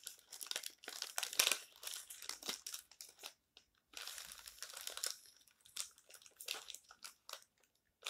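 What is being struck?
Glossy paper magazine.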